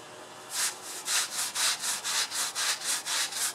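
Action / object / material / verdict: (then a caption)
scrape / synthetic fiber rug scrubbed with a plastic-bristle brush / synthetic fiber / none. A handheld plastic-bristle brush is rubbed back and forth across a large black and red patterned synthetic fiber rug covered in foam on a floor. After a brief quiet start, it makes a steady series of bright, hissing scrubbing strokes at roughly two per second. The sound is mostly high-frequency friction with almost no low end.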